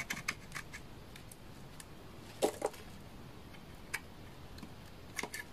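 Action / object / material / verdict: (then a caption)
scrape / bar of laundry soap cut with a blade / soap / none. A utility knife blade scrapes curled shavings off a solid bar of dry orange laundry soap. Short, dry, crisp scraping clicks come at irregular intervals over a quiet background, with a louder pair of cuts midway. Each stroke stops almost instantly with no ring.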